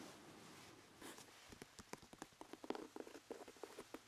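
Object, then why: Leather dress shoe with hard sole. A brown leather dress shoe with a hard sole is held up by hand while fingertips tap on its sole and heel. After a soft rustle, a quiet series of short, dry, hollow knocks follows, with bright clicky edges and an uneven clip-clop rhythm.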